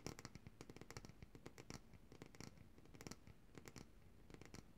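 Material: Glass.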